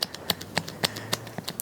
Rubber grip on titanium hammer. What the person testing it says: the grip's actually become loose with the actual titanium of the hammer. We can hear when I shake it, you can hear that movement